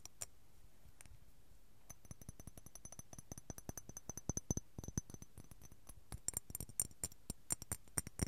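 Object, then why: Glass jar filled with cotton balls. A small clear glass apothecary jar with a glass lid, filled with white cotton balls, is held in both hands and tapped and shaken with fingertips and nails. After a couple of sparse taps, quiet, dry clicks and ticks come in quick, dense runs, carrying a faint high, bright glassy ring over soft muffled thuds.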